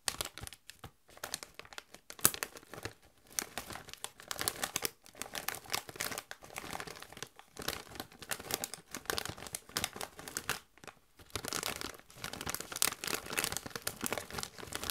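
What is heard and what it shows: A Doritos chip bag of metallized plastic, partly full of chips, is crinkled and scratched with long white nails. Dense, bright crinkling and crackling comes in steady bursts with short pauses, with very little low end. The rustle stops dead after each squeeze.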